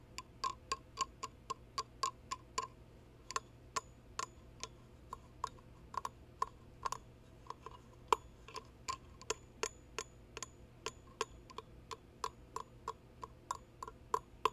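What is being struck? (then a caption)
Resin goblet with steel rim. Fingertips and nails tap the side of a hollow, empty, ornate resin dragon goblet, then tap and slide along its steel rim at the top. About 43 short, dry ticks come in a steady, clock-like run, each with a brief bright ring near 1 kHz that dies away almost at once.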